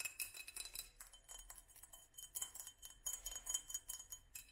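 A small hollow glass mason jar in a black studded sleeve is held up and tapped and rubbed with long nails on both the glass and the sleeve. The result is a quiet, rapid series of light, bright clicks and clinks with very short ring, mixed with soft high scratchy rubbing and a faint steady high tone.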